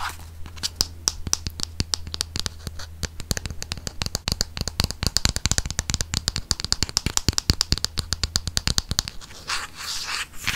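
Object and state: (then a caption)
Plastic squeeze tube scratched. A hollow white soft plastic Dove cosmetic tube with a blue cap is held in the hands and scratched along its body with fingernails close to the microphone. Rapid, dry, crisp scratching clicks run continuously over a low steady hum, then give way to a softer rustling at the end.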